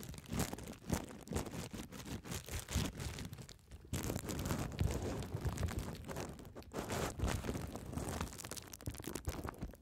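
A clear plastic bubble wrap sheet, first held upright and then folded into a strip over the microphone, is scratched by long red nails that pop its bubbles. Dense, close crinkling and crackling is heard with soft, low-heavy pops, briefly quieter just before the four-second mark and then fuller and closer afterward.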